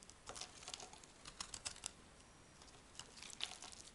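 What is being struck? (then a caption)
Laundry soap bar cut with a metal blade. A metal blade carves a solid brown laundry soap block, making quiet, bright, crisp crackling scrapes in quick bursts with a short pause in the middle. Brittle chunks break off the bar.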